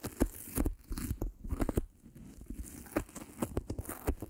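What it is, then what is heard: Adhesive felt sheet. Long pink-painted nails and fingertips rub, scratch and crinkle a thin, flat, white, palm-sized self-adhesive felt sheet, held uncovered in both hands, while it is pulled and partly split apart. The result is a close, quiet run of sharp tearing and crinkling bursts with short crackles, heavy in low tones.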